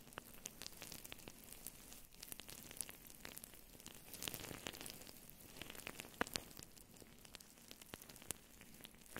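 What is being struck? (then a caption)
Synthetic fur microphone windscreen. Long blue nails on both hands scratch and squeeze a fluffy faux fur microphone windscreen up close. The result is a steady, quiet, broadband crackle and rustle, like sizzling, with bright, sharp clicks scattered throughout and no ring-out.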